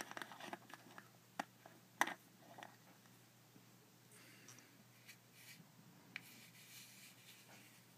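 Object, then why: Small glass jar with plastic lid. A small dark glass Marmite jar with a yellow plastic lid, apparently filled, is held in one hand while the other hand's fingernails tap and scratch its glass body and lid. Quiet, sharp clicks and taps come first, then give way to softer scratching and rubbing.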